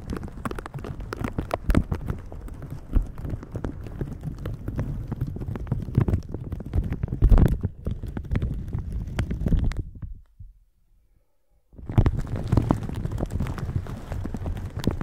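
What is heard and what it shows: Silicone bristle gloves brush and rub the thin plastic film of a shower cap stretched over a microphone, making a dense stream of close, crinkling, scratchy rustles with a heavy low thump. The rubbing stops for a brief silence around the tenth second, then resumes just as busily to the end.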